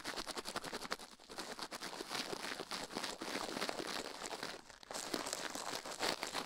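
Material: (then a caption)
Silicone. A toothbrush quickly scrubs a silicone ear microphone resting on a metal plate while the other hand stays still. The result is a dense, rapid, bright scratching and crinkling texture with almost no low end, continuing steadily apart from a brief lull near the end.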